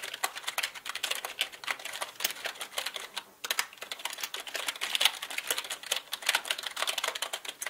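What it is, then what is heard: Plastic mechanical computer keyboard. Both hands type with their fingertips on a black mechanical computer keyboard with plastic keycaps, producing a rapid, steady stream of dense, bright clicks. There is a brief pause just after three seconds. The keystrokes are crisp and short with almost no low end.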